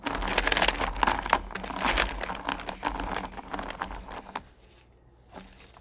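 A hand stirs and rakes through a pile of small, solid candy corn pumpkins in a purple plastic bucket, making a dense, bright clatter of the little candies rubbing and tumbling against each other and the bucket. The rattling stays busy and irregular for about four seconds, then thins out and drops to near silence, with one last faint shuffle at the end.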